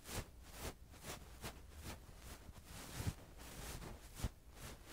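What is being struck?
Nothing is struck.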